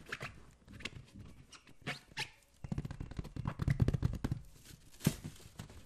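A light green latex balloon filled with liquid is scratched and tapped with the fingertips close up. Soft, low, dull thumps and muffled rubbery scratching come in uneven bursts, growing busier toward the middle before a single brighter tap near the end.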